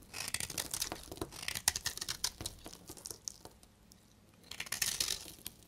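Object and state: Dry bar soap being scraped and crumbled.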